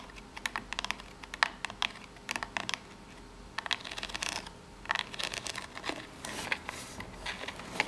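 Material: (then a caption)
Cardboard. Long nails tap and scratch the ribbed side and top edge of a small corrugated cardboard box. Quick, bright, dry clicks and short scratchy rasps come in irregular bursts with no ring, over a faint low hum.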